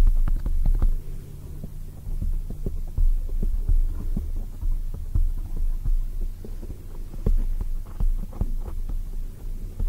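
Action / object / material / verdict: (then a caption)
tap / foam microphone windscreen / foam / none. Long white acrylic nails on both hands rapidly tap a soft, spongy black oval foam cover on a microphone. The taps come through as deep, muffled thumps with almost no brightness, layered over a steady low hum.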